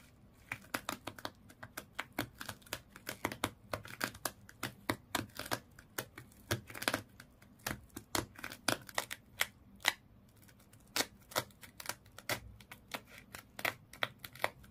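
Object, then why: Small toy fish wrapped in twisted sisal rope. Long nails scratch rapidly across the body of a small fish toy wrapped in colored twisted sisal/jute rope. The result is a fast, uneven run of dry, crisp rasps that are bright and broadband, each cutting off almost instantly, over a faint low steady background.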